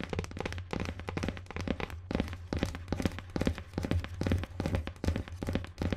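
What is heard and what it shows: Long nails tap and scratch the rigid board cover of a marbled-pattern cardboard hardcover book held upright close up. Quick, irregular taps land in a steady stream, each a dull, low, boomy thunk that dies almost instantly. Faint scratchy rustle runs between them.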